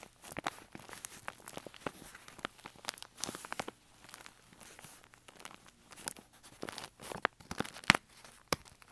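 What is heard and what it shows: A brown kraft paper bag with a rolled top and a snap button, hollow and resting on carpet, is pressed, scratched and crinkled along its side by fingers. Quick, dry papery crackles and scratches come in fast, uneven bursts, bright and thin with little low end and no ring after each touch.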